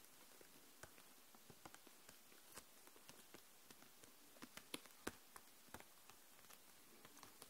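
Long nails tap across the plastic barrels of markers packed in a clear plastic case lying flat. About seventeen quiet, dry, bright clicks land at an irregular pace, each dying away instantly over a soft steady hiss.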